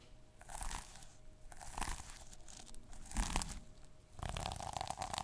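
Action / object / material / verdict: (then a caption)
scrape / plastic sequins on a notebook cover / plastic / none. Fingertips and short nails rub and scratch the plastic sequins on the cover of a small notebook held in hand. The result is bursts of bright, crunchy, crinkling scratches with a soft low rumble underneath and a faint steady tone in the background.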